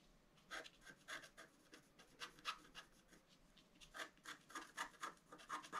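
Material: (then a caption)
Coated paper. A pointed wooden stylus scratches a flat A4-size scratch-art card, its black coating over a colored foil layer, resting on a table. Quick, irregular strokes come at about four per second, each a short, bright, dry rasp that stops almost at once. Quiet hiss fills the gaps between them.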